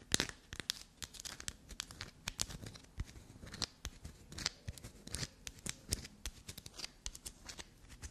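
A small solid black soap bar with a carved, crumbly, scraped surface is held in the hand and scratched and dug into with long, black-polished natural nails. Dozens of quick, dry, crackly scrapes and crumbling bursts follow one another in a fast, uneven rhythm. The sound is mostly bright and brittle, with only a soft low body.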